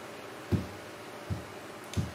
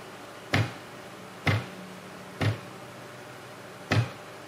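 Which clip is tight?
The first.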